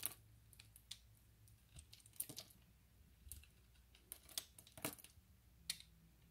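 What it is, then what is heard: Glycerin soap bar being scraped. A utility knife blade scrapes small cube flakes off the surface of a solid, translucent orange glycerin soap bar that is now partly shaved. The result is a quiet, irregular series of short, dry, bright scrapes and crisp clicks with almost no ring, separated by soft, low background hush.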